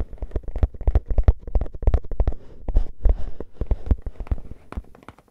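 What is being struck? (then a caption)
Composite cardboard can with metal rim. Fingernails rapidly tap and scratch the top rim and lid of a composite cardboard crisp can with a metal rim, held in the hands. The result is a dense, irregular run of short, dry, low thuds with quick scratchy bursts and almost no ring.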